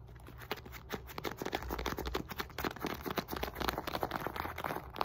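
Long nails rapidly tap and scratch the surface of a solid, red and white stitched synthetic leather medicine ball weighing 4–5 lb. The result is a quick, irregular patter of short, dry clicks with a scratchy texture and almost no ring, over a faint low hum.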